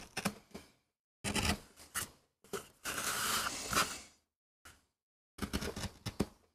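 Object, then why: MDF carving block. A metal gouge carves and scrapes grooves into a small, flat, solid MDF board held by the fingertips, cutting a rose design for a relief print. Short, dry scratchy cuts come in bursts separated by silences. One longer, continuous bright scrape stands out in the middle.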